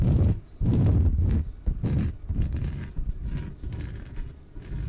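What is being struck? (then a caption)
Inflatable PVC exercise ball. Long nails tap and scratch the top and sides of a small, yellow, hollow, air-filled inflatable PVC exercise ball. The result is a run of dull, low, boomy thumps and rubbing scrapes in uneven bursts, with almost no high sound and no ring after each touch.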